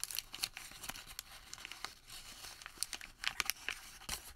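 A plain white thermal paper receipt is partly unfolded, then crumpled and folded by fingertips. Quiet, bright, crisp crinkling and tearing-like rustles come in many sharp, short crackles, with almost no low end.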